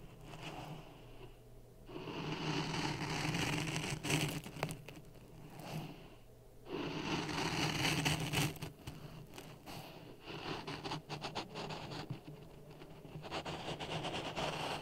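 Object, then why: Sand in a plastic cup. A wooden stick scrapes through dry sand in a clear plastic cup resting on a red microphone. Two long, gritty swells of hissing scraping build and fade, followed by quicker, choppy crackles and grainy rasps over a low, steady hum.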